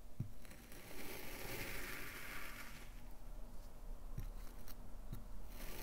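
A gloved hand pushes a metal knife blade sideways through the top slab of a stack of solid brown kinetic sand slabs to separate it. The result is a quiet, steady, grainy crunching and scraping with a soft hiss, plus a few faint low thuds along the way.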